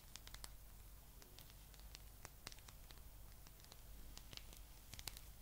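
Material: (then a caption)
Rubber. Long nails scratch a palm-sized blue spiky rubber massage ball held up in the air. The result is a quiet stream of short, crisp, bright ticks and scrapes over a steady low hum.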